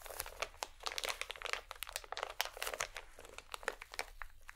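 A small holographic plastic or foil packet is held in both hands while fingers and long nails squeeze and crinkle it. The result is a dense run of sharp, bright crackles and crinkles with very little low end.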